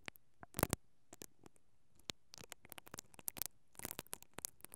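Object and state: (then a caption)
Metal mesh microphone grille. A single mascara brush with black plastic bristles, held by a hand with long painted nails, is rubbed and scratched steadily over the capsule of a stereo microphone's hollow, perforated metal grille. It makes quiet, dry, crackling bursts of bristle scratching with sharp, bright clicks and almost no ring. The bursts are scattered irregularly across near silence.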